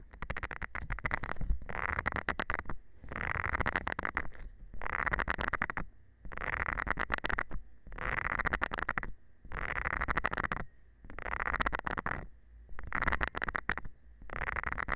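A thin metal rod scratches across the nubs of a round green silicone scrubber pad held in the hand. Repeated bursts of dense, ticking rasping come one after another with short pauses between them. The sound is soft and close, with a low rumble underneath.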